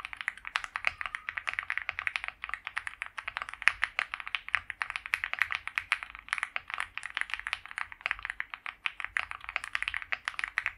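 A white compact mechanical keyboard with PBT doubleshot keycaps, a polycarbonate plate and a foam-filled plastic case sits on a felt mat while both hands type on it continuously. The fingertip key presses make a rapid, dense stream of short, crisp clacks centered around 2 kHz, with bright tops and almost no low end. Each keystroke dies away almost instantly.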